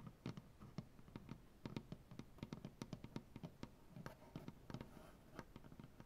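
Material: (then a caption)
Maple wood. Fingernails of both hands tap rapidly on a solid, light maple butcher block tabletop. About 29 quick, dry taps land in uneven bursts, each a short woody knock with a low thud and a brief bright click that dies away almost instantly. A soft, steady hiss sits underneath.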